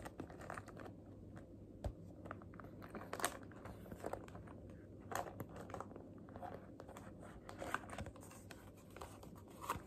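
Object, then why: Clear vinyl zippered cosmetic bag. Long fingernails rapidly tap and scratch the clear PVC vinyl of a medium zippered makeup bag with black trim, which holds makeup items such as pencils and a sponge, as it is held up and handled. The sound is quiet and crinkly, with quick, dry clicks and scratches over a soft, steady low rumble. Each tap dies away almost at once.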